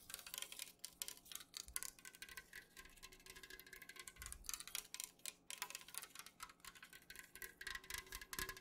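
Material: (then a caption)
Aluminium. An unopened, full Jumex aluminum juice can, held at an angle, is tapped quickly with long nails on its printed side. The result is a steady stream of rapid, irregular, bright clicky taps that die away almost instantly, with very little low end and a faint thin metallic ring beneath them.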